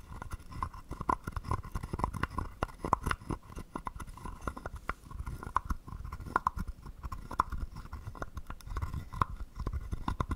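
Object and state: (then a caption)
Carved wooden frog guiro. A wooden stick is scraped over the ridged back of a palm-sized, hollow, carved wooden frog held in the palm. The result is a dense run of short, dry wooden clicks and ratchety rasps with a hollow, woody tone around 1 kHz and plenty of low thump. The clicks come in uneven bursts throughout, with no ringing between them.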